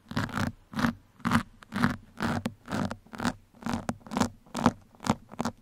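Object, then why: Foam microphone windscreen scratched with metal pins. Two metal pins scratch across a black foam microphone windscreen in quick, uneven strokes, a little over two per second. Each stroke is a short, rough, crackly scrape with a bright hiss and a low hum underneath, separated by brief quiet gaps.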